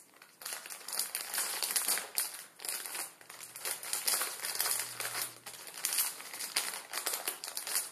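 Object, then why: Plastic film noodle packet. Fingertips rub and crinkle a plastic film ramen noodle packet resting on a wooden table. The result is a steady, bright, crackly crinkling with almost no low end, rising and falling in dense swells throughout.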